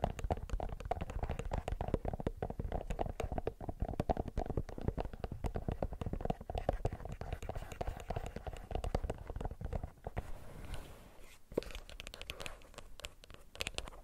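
A plastic earbuds case is tapped quickly and steadily with fingernails, making a dense run of short, clicky taps with a hollow tone around 560 Hz. The tapping eases to a softer, quieter patch near the ten-second mark, then picks back up with a few sharper taps to the end.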